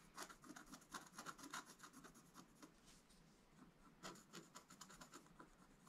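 A wooden stylus scratches the coating of a flat black-coated scratch-art page in a quick, uneven run of short strokes. Each stroke is a dry, bright rasping scrape with little low end, stopping almost at once, and the clip stays quiet throughout.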